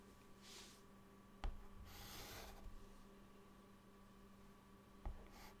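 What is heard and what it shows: A white chalk stick held in the fingertips draws lines across a flat, dark, solid chalkboard. Soft, bright, scratchy rubbing strokes are heard, along with two sharp taps of the chalk against the board. A steady low hum runs quietly underneath throughout.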